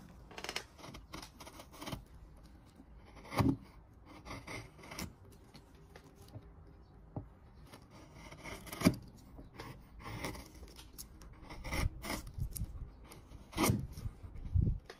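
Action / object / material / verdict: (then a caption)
scrape / pale wooden workpiece under a steel chisel / wood / none. A wide steel chisel pares the inner corner of a solid pale wood piece with an L-shaped cutout, held on a wooden bench among shavings, peeling off thin curls. Soft, dry scraping and shaving strokes repeat throughout, with a few sharper, louder cuts standing out. Each stroke is brief, with no lingering ring.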